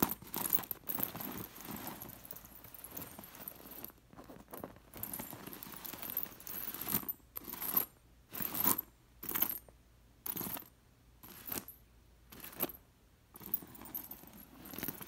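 A hand with long nails sweeps and scratches over the loose metal sequin discs sewn onto a fabric pillow, making bright jingling clicks. The scratching is nearly continuous at first, then breaks into short, separate bursts of rattling discs with quiet gaps between them.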